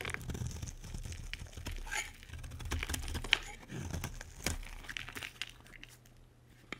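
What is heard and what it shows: A utility knife blade scrapes a solid white bar of soap, sending flakes falling onto a pile. Crisp, dry scraping and crackling bursts come in quick irregular strokes, with a few sharper ticks over a steady low hum.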